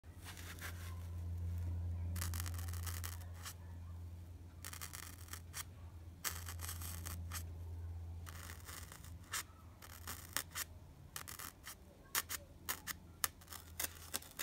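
The sharpened graphite tip of a blue wooden pencil is poked repeatedly into a white expanded polystyrene (styrofoam) block, solid foam with visible bead texture. It makes bursts of bright, scratchy, squeaky crunching, some long and some short and clicky, over a steady low hum.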